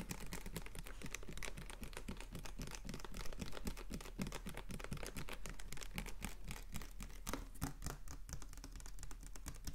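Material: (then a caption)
Plastic. Fingernails rapidly tap and scratch a capped, clear plastic water bottle with a blue label. The result is a steady, dense stream of short, dry clicks over a low hollow thump, with bright crinkly scratching in between.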